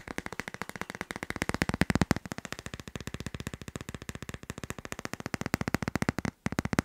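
A hand-sized hard plastic phone case with a teal tropical-leaf print, fitted solidly on a smartphone, is tapped quickly with fingertips and long nails on its back and edges. Around sixty dry, clicky taps come in a fast, steady stream, each with a low hollow knock and a bright tick that dies at once. There is a brief pause just before the end.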